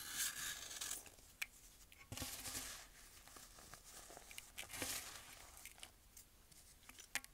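A metal blade scrapes and shaves the surface of a solid rectangular block of pressed, compacted baking soda held in hand over a bowl of powder, taking off crumbly chalky layers. Quiet, bright rasping scrapes come in uneven strokes, broken by a few sharp, crisp crunches that stop almost instantly.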